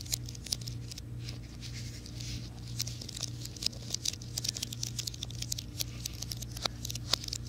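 Fingernails tap and scratch the plastic keys of a slim white plastic and aluminum wireless keyboard, held upright and then at an angle. The result is a quick, dry, bright patter of clicks and scrapes that die away at once, over a steady low hum.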